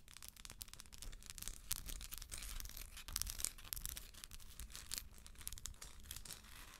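Long acrylic nails tap and scratch the textured shell of a hollow plastic galaxy moon lamp held in hand. The result is a dense run of quick, dry, bright scratches and clicks over a low, steady rumble.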